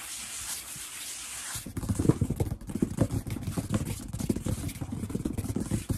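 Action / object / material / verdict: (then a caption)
tap / wooden tabletop / wood / none. Bare fingertips and palms rub and then tap fast on a large solid wood-grain tabletop, possibly wood laminate. A soft, bright rubbing hiss opens the clip before giving way to a dense stream of quick, dull, low knocks with almost no ring.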